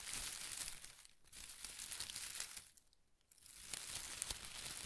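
A bundle of thin pastel shredded paper strips held in one hand is squeezed and crinkled with fingertips and short nails. The result is a dense, bright crinkling with small crackles, pausing briefly twice to near quiet before resuming.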